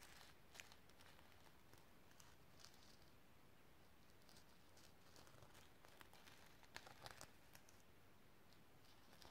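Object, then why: Sequin-covered notebook. Long nails scratch and rub across the sequins on a sequin-covered notebook in close-up. Soft, crinkly scraping and scattered bright ticks sit over a low, steady rumble, with brief sharper clicks standing out now and then.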